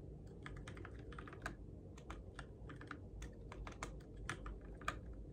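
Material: Plastic.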